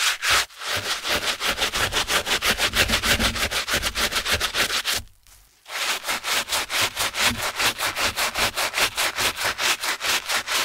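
A gloved hand scrubs the foam-covered black and grey knit fabric upper of a Skechers running shoe, with the foam sole edge in view, using a wooden-handled bristle brush. Fast, steady back-and-forth strokes make a bright, scratchy swishing that stops briefly around the middle, then resumes at the same pace.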